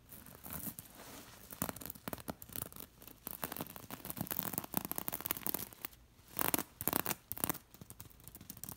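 Long nails scratch and tap across the beads of a beaded linen throw pillow, making a string of dry, bright scratches and quick clicking taps with short bursts of rustling. The sounds are closely spaced and die away almost at once, with a few louder scraping passes near the end.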